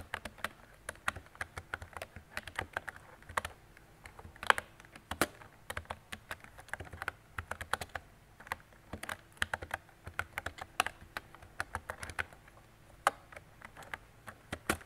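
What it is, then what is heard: Plastic mechanical keyboard. Fingertips with long decorated nails type steadily on a mint-green retro mechanical keyboard with round plastic keycaps and a hollow body. The result is a rapid, continuous stream of short, dry plastic clicks and clacks centred around 1.6 kHz, each dying away almost instantly, with a bright edge and only a little low thump.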